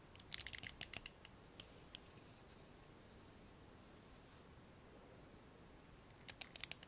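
Fingernails pluck and scratch the black plastic pins of a blue plastic hairbrush. About fourteen quiet, sharp, bright ticks come in a cluster at the start and another near the end. A faint steady hiss fills the gap between them.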